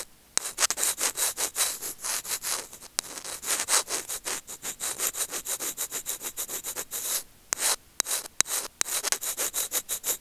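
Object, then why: Small plastic earphone microphone remote. Curved steel tweezer tips scratch and rub the small hollow white plastic in-line remote and microphone of Apple earphones, which is itself recording and is held in fingers over grey felt. Close, bright, dry scraping strokes come in a rapid uneven series with brief gaps, with sharp clicks and almost no low end.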